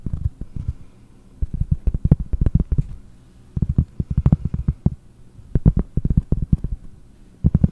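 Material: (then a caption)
Cork. Long fingernails tap quickly on a large, round, solid cork trivet held in one hand. The taps are soft, dull and low, with almost no ring. They come in short rapid bursts separated by brief quiet pauses.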